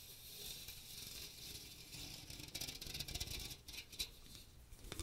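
Fingernails tap and scratch the fine metal mesh dome of a small strainer with a teal plastic rim, held over the microphone. The result is a quiet, bright, hissy scraping with soft, short taps that crackle up in the second half, over a faint low rumble.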